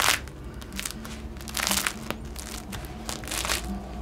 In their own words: just listen to how crispy this loaf is now